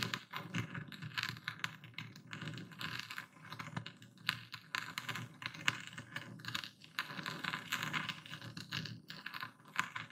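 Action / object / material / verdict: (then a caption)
scrape / coarse epsom salt crystals ground in a wooden bowl with a stone pestle / salt crystals / none. A dark speckled stone pestle, held upright and tilted, grinds and crushes coarse white epsom salt crystals in a full wooden bowl. Dense, bright crunching and gritty crackles run steadily throughout, with quick sharp clicks that die away almost instantly.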